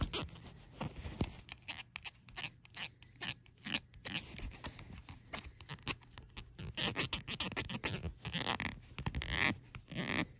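Long acrylic nails tap and scratch across a small, light-coloured plastic cosmetic squeeze tube lying on a patterned fabric blanket. The result is a quiet, dense run of crisp, dry clicks and scratchy scrapes with bright high-frequency detail and almost no ring after each touch.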